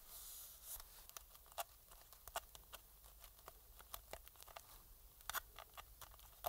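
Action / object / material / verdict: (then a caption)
scrape / plastic game controller / plastic / none. A thin metal pick scrapes along the shell seams and around the triggers of a hollow black plastic PS4 controller held in gloved hands. It starts with a brief bright hiss, then gives quiet, dry scratching broken by many short, sharp clicks and ticks that stop almost instantly.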